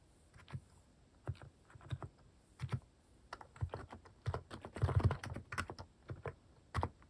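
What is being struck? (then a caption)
Plastic mechanical keyboard keys. Fingertips type rapidly on a plastic mechanical keyboard fitted with cat-shaped plastic keycaps. The key presses land as short, dry clacks with a deep low thump beneath a brief bright tick, bunching into a denser burst in the middle of the run.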